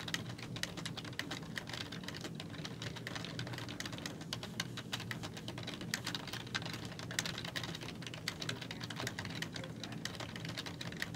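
Fingertips with long nails type rapidly on a black plastic computer keyboard with hollow keys. The result is a dense, continuous stream of quick, bright clicks and taps over a steady low hum, with no pauses for the whole clip.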